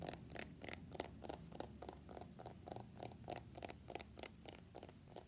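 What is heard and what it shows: Fingernails tap and scratch an iPhone X in a floral-printed plastic case held sideways, making a quiet, uneven run of short bright clicks at roughly 100 per minute. Soft scratchy rustles fill the gaps over a faint low rumble.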